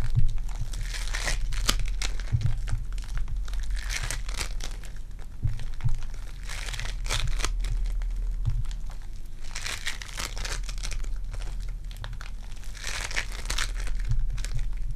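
A small, soft, pliable lump of purple foam-bead clay is squeezed, pulled apart and kneaded between fingertips with long dark-painted nails, while dry leaves on the table stay untouched. Dense, bright crackling and crinkling bursts swell and fade in waves over a steady low hum.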